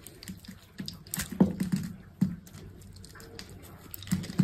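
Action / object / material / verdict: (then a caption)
scrape / soap bar cut with a small knife / soap / none. A small metal knife with an orange handle scores a hand-sized bar of green soap, held in the hand, into a grid and cuts it into small cubes, with shavings falling onto a dark mat below. Crisp, short carving and scraping clicks come in an irregular series over a soft, low hiss, each dying away quickly. The sound is mostly low and dull, with only faint bright edges.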